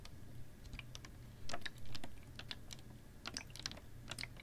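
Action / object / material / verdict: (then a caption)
tap / plastic water bottle / plastic / none. Long nails tap a hollow, clear ribbed PET water bottle with a little water in it, held horizontally. The result is a quick, irregular run of light, bright clicking taps over a steady low hum, with two louder swells in the middle.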